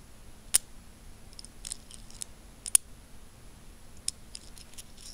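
A small stack of solid metal coins is held between the fingertips while the fingers click and rub their edges together. The result is bright, very short clicks at irregular intervals, with softer scratchy rubbing between them over a faint steady low hum.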